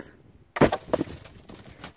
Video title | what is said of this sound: No Names, two old, abandoned mines | You can hear it's hollow and you can actually see the rock bounce.